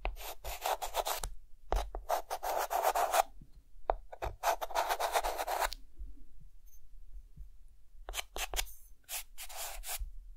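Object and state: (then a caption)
Chalk drawing on a chalkboard. A white chalk stick held in the hand draws zigzag strokes across a flat, solid dark chalkboard with mountains drawn on it. Bursts of dry, scratchy rasping alternate with quiet gaps, each stroke a rapid run of gritty scrapes centered in the midrange and reaching up into a bright hiss.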